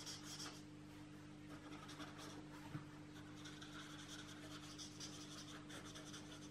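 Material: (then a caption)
Paper. A felt-tip marker is stroked over the page of an open paperback coloring book lying on a table, while the other hand holds the book flat. Quiet, soft scratchy rubbing strokes continue steadily over a faint, constant low hum.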